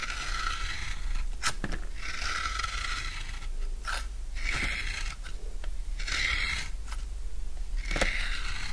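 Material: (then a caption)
Soap. A utility knife shaves the edge of a solid, rectangular bar of dry blue soap into curls. Repeated dry scraping strokes make a crisp, crunchy rasp centered around 2 kHz, with brief bright clicks between the strokes. A steady low rumble runs underneath throughout.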